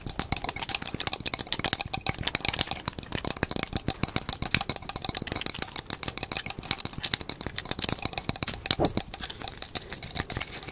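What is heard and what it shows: A small painted wooden perpetual desk calendar, topped with a cartoon figure and holding loose wooden number blocks, is held in both hands close up and shaken. The blocks rattle in a fast, steady stream of sharp, dry clicks and clacks that carry mostly bright, high tones with little low end. Each click dies away almost at once, and the rattling keeps going for the whole clip.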